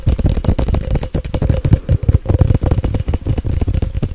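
Long nails tap fast on the glass body and label of a Nescafé glass jar with a gold lid, held close to the mic. The taps come as a dense, rapid stream of short, dull clicks with a heavy low-end thump and a faint steady ring around 550 Hz.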